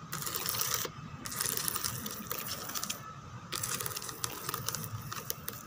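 Long teal nails scratch and tap across the textured back of a white molded plastic chair with raised roses and grid holes. Dense, bright scraping runs in bursts with brief pauses near one and three seconds, scattered with sharp clicky taps and a steady tonal band around 1.2 kHz.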